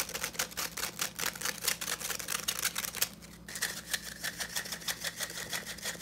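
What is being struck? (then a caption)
Plastic tea strainer with fine metal mesh bowl. Fingertips and nails rapidly scratch and tap the fine metal mesh bowl and rim of a small, hollow, empty yellow plastic hand tea strainer. The result is a fast, uneven run of crisp, bright scratches and clicks that stop short with almost no ring, with a brief lull about halfway through. A faint, steady low hum sits underneath.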